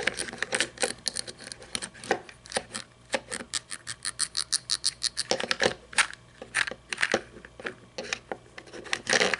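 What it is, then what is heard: Toy monster truck, plastic body. A small red toy monster truck with plastic and chrome parts lies on its side on a table while long nails tap and scratch its painted body. Dozens of quick, bright, dry clicks mix with rasping scratches that have almost no low end and die away at once.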